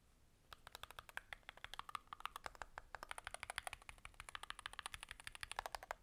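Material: Aluminum, plastic.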